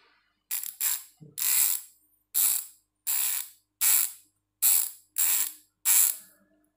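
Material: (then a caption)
Aluminium. A silver and black aluminium MTB rear hub, a hollow Strummer MT-650 with a microspline freehub, is held in both hands while fingertips rotate the splined freehub body. The internal metal pawls ratchet in repeated bursts of rapid, bright, high-pitched clicking, each burst fading quickly before the next spin.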